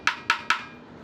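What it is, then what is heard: Wooden dhol drum shell, wood type named. Three sharp taps on the wooden shell of a dhol drum made of batti wood, each a bright, woody knock that dies away quickly. The shell sounds normal and sound.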